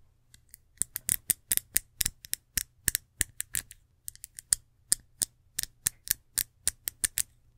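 Long acrylic nails scratch and tap in fast strokes across the ridged, patterned reddish glass body of a small rectangular perfume bottle with a gold atomizer cap, held in the hand. The result is a rapid series of sharp, bright, high-pitched clicks and scrapes that stop almost instantly, over a faint, steady low hum.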